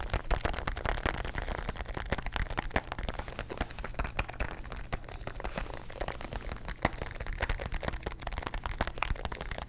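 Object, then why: Plastic tablet bottle with tablets inside. A plastic bottle of antacid tablets, with the tablets inside, is tapped and scratched with fingernails close to the microphone. The result is a fast, dense stream of dry, clicky taps and scratchy rustles with short, sharp transients and a low, boomy undertone throughout.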